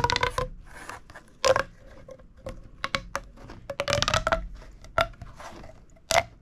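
A small, hollow, red-orange corrugated plastic pop tube is held in both hands while the fingers push its ribs together and pull them apart. This makes bursts of crunchy crackling pops with a tonal squeak near 690 Hz and bright, scratchy highs. The strongest pops land near 1.5, 4, 5 and 6.2 seconds.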